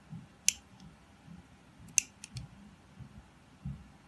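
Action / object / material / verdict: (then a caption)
scrape / glycerin soap bar cut with a utility knife / glycerin soap / none. A utility knife blade scrapes and cuts into the surface of a palm-sized, solid, translucent blue glycerin soap bar held in the hand. Three sharp, bright, dry clicks with almost no ring stand out over soft, low scraping rustles. The overall level stays quiet.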